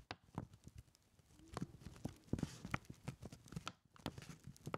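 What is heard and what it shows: A crumpled brown kraft paper lunch bag, hollow with its top folded, is held in both hands while fingertips tap on it in a rhythm. Many quick, dull, low-pitched taps with a faint papery crinkle give a soft clip-clop-like patter.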